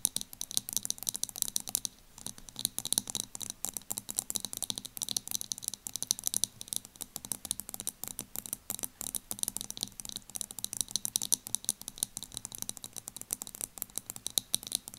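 Long acrylic nails tap and scratch the lid and sides of a small round plastic loose powder jar with a clear plastic top and black base, filled with beige powder. The result is a dense, steady stream of quick, bright clicks and scratchy ticks with no ring, broken only by a brief pause near the two-second mark.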